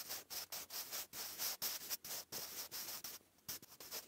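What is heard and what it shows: A wooden graphite pencil writes cursive on a lined grey paper notebook page, making short, dry, bright scratching strokes. Each stroke is a quick burst of hiss with almost no low end, separated by brief pauses, with one longer gap near the end.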